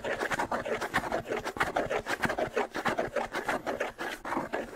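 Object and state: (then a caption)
Wood and skin bongo drum, scratched. Fingertips and nails scratch the stretched skin head of a small, hollow wooden-shelled hand bongo held close to the mic. The result is a rapid, uneven series of dry rasping strokes with a faint hollow midrange tone and little ring.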